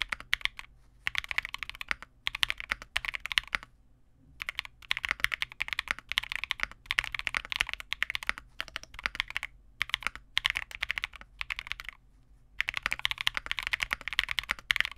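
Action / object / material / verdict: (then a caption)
tap / plastic mechanical keyboard / plastic / none. Continuous two-handed fingertip typing on a Vega65, a small 65% custom mechanical keyboard with re-lubed Cobalt switches, white plastic keycaps and a dark case. It makes a dense stream of crisp, bright plastic clacks with almost no low end and no ring, broken by brief pauses near 4 and 12 seconds.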